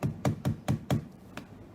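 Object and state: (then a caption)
Solid-sounding laptop casing. Knuckles knock six times on a commercial laptop casing, giving short, dull, low thuds with very little ring, the last knock softer. The casing sounds solid, more solid than a consumer laptop.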